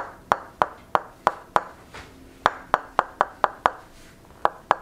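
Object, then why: Wooden wedge and wooden mallet. During a tok sen massage, a solid wooden mallet knocks a solid wooden wedge held against a seated woman's shoulders and head. Thirteen sharp, dry wood-on-wood knocks sound in an uneven rhythm, each ringing at a hollow, mid-pitched tone near 1 kHz and dying away almost instantly. There is a brief pause near the middle and a fainter soft thump within it.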